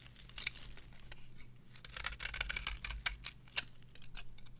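A metal blade carves shavings from the face of a dry, purple-edged bar of soap resting on a palm. Crisp, bright scraping and crackling strokes come in quick bursts, busiest in the middle of the clip, over a steady low hum.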